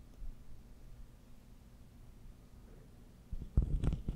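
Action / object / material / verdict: scrape / ribbed plastic corrugated tube / plastic / none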